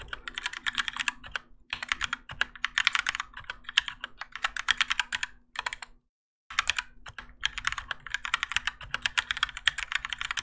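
Both hands type continuously with their fingertips on a Keychron K4 compact mechanical keyboard with Gateron Yellow switches and grey and orange ABS plastic keycaps on a plastic and metal case, resting on a desk mat. Rapid, bright, clacky keystrokes come in dense bursts with very short decay over a faint low hum, broken by a brief silence near the six-second mark before the typing resumes.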